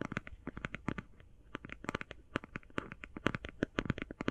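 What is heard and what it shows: Long painted fingernails tap and scratch quickly on a closed, flat, rectangular, hand-sized cardboard eyeshadow palette. It makes a rapid, uneven run of short, dry clicks and scrapes with no ring. Each hit has a low thud body and a bright, crisp edge.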